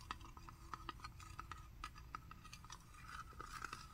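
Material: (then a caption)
Metal. A small, sealed, presumably full Wild Planet tuna can (a metal tin with a paper label and a yellow-rimmed lid) is held in both hands and turned while short manicured fingernails tap and scratch its lid and side. The result is a quiet series of quick, light ticks and clinks that each carry a brief metallic ring around 1.4 kHz and die out almost instantly, with soft scratchy sounds between them and a low background rumble.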